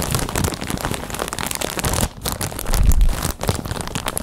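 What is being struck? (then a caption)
Plastic bag filled with cotton balls. A clear plastic packaging bag full of white cotton balls, held in both hands, is squeezed and crinkled with fingers and long nails. It makes a dense, continuous crackling and crinkling with a low, soft undertone, briefly easing just after two seconds. It then swells to its loudest before settling back into steady rustling.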